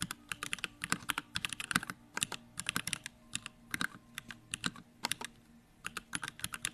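A pink Bakeneko65 compact 65% mechanical keyboard, with an aluminum case, pink plastic keycaps and Durock lavender switches, sits solid on a wooden desk while the fingertips of both hands type fast. About forty crisp, bright keystrokes come in quick bursts with short pauses between them, each clack dying away almost instantly over a faint, steady low hum.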